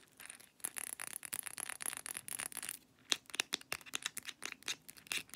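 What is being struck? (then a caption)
Small glass pill bottle with paper label and plastic cap. A small amber glass Blackmores supplement bottle with a paper label and white plastic screw cap, filled with capsules, is tapped and scratched by long nails on the label, cap and glass. Quick, dense clicks and scratchy strokes come in a fast rhythm, bright and thin with almost no low end, and a higher, clearer glassy tap pattern takes over after a brief pause near the three-second mark.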